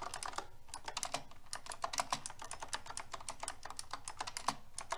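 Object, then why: Mechanical keyboard with plastic keycaps. Fingertips with long red nails type steadily on a silver metal-frame mechanical keyboard with round pink plastic keycaps. The keystrokes make quick, bright plastic clicks and clacks in a fast, continuous, slightly uneven rhythm, each dying away almost at once.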